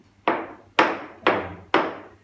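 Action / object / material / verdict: tap / ceramic floor tile tapped with a stick / ceramic / hollow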